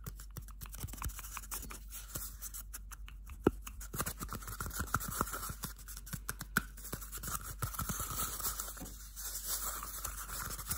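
A small, hollow, empty cardboard toilet paper roll is scratched with bare fingernails, giving a steady stream of dry, papery scratches and crisp little ticks. The sound is quiet and close, with a few sharper clicks standing out and a faint hollow tone ringing under the scraping.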